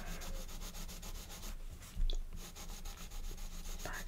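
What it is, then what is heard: Colored pencil shading on a paper page. A blue colored pencil rubs back and forth across the page of an open paper coloring book on a wooden table, held down by the left hand, while shading. Steady, rhythmic scratchy strokes fade briefly around the middle. A soft low thump follows, then the strokes resume at the same pace.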